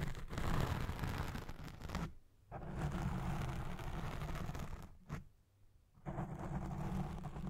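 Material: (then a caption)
Foam. Fingertips with long red nails scratch and rub across the soft, domed black foam windscreen on a Blue Yeti Pro microphone. The result is a dense, low, rumbling scratch with a rustling texture, broken by two brief pauses into near silence before the rubbing resumes.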